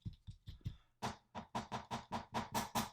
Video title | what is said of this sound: A Review Of The Kunwu Tao | it's just got a little bit of rattle to that clip